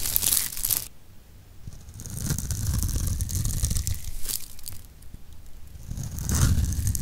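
A utility knife blade scrapes across the surface of a hand-sized solid pink soap bar held in the palm, carving fine ridged shavings. Dry, crunchy scraping comes in uneven bursts of bright hiss over a low, rumbling body, with quieter gaps between strokes.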